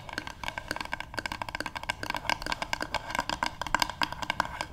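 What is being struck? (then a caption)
Wooden paddle hairbrush. Long nails and fingertips of both hands tap fast on the flat back of a light, solid wooden paddle hairbrush resting on a table. The result is a rapid, uneven stream of short, dry clicks and knocks, with a hollow woody tone around 1 kHz and bright nail ticks on top.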